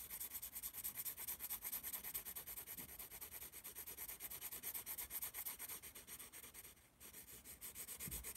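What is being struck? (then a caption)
Pencil scratching on a small paper notepad. A yellow pencil draws and shades on the page of a small paper notepad held in one palm. It makes quick, bright, dry scratching strokes that repeat unevenly at about three per second. The strokes briefly pause just before the seventh second, then resume.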